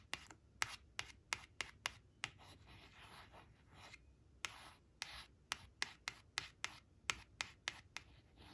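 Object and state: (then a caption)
Paper flash card scratched with nails. Long acrylic nails trace and scratch two printed ice cream cones on a thin coated paper flash card lying flat on cloth. About 19 sharp, bright nail taps and scratches ring out, with a stretch of soft, papery rubbing in the middle, all thin and high with almost no low end.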